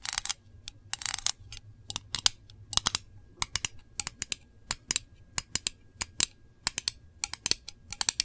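Long nails tap rapidly on the lid of a small, round, hollow printed metal candle tin. The result is a quick, irregular series of sharp, bright clicks that stop dead with almost no ring, some bunched into quick flurries. There is very little low end beneath them.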